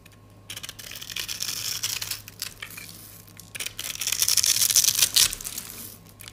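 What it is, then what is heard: Dry soap bar scraped with a blade. A rectangular, solid, cream-colored dry soap bar held in the hand is scraped and scored with an orange-handled metal utility blade, breaking off crunchy strips. The sound is a bright, dry crunching and rasping in uneven bursts, with a short pause in the middle before it swells louder again.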